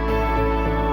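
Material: Nothing is struck.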